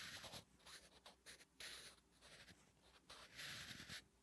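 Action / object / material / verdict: scrape / graphite pencil on a paper notebook page / paper / none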